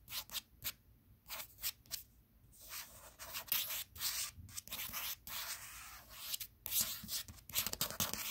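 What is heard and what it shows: A paperback book held flat, a solid block of paper with a glossy cardstock cover, is tapped and scratched by fingertips and short nails on the cover. Quick, bright scratching strokes come in bursts of varying length, separated by brief pauses. The result is a crisp, hissy sound with almost no low end.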